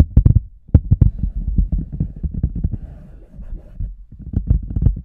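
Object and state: Rubber boot.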